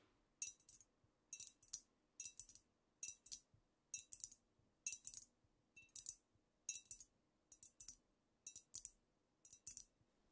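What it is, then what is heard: Glass bottle tapped with nails. Long nails tap the shoulders and sides of a squat amber glass cognac bottle with a paper label, apparently filled. Quick bursts of bright, crisp clicks and clinks come in uneven clusters with short gaps between them. Each tap dies away almost at once, with no lingering ring or low body.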